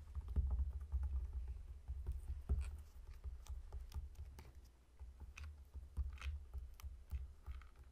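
Fingertips tap on a whole, solid pineapple lying on a table while the palm rubs its scaly rind. The result is a quiet, irregular run of soft, low, dull thuds mixed with light clicks and brief scratchy rustles.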